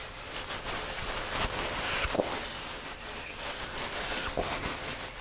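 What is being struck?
Nothing is struck.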